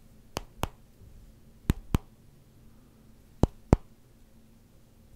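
A solid black rubber hockey puck is held in one hand while fingertips tap its flat face and edge. Seven short, dry taps fall in loose pairs over a quiet background, each a brief bright click with a dull low thump that dies away almost instantly.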